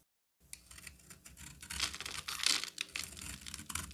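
A solid orange-amber bar of soap, held in the hand, is shaved and carved with a utility knife. After a brief silence, dry, crisp scraping and crackling starts up, bright and papery with almost no low end. The shaving grows denser and louder as the cuts go on.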